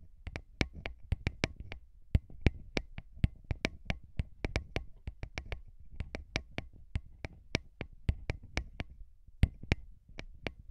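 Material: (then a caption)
Metal. Fingertips of both hands rub and tap the grilles of small hollow metal microphone capsules mounted on a recorder. A low, rumbling rub runs underneath a quick, uneven series of dry, sharp clicks that reach bright highs and stop instantly, with a few brief pauses between bursts.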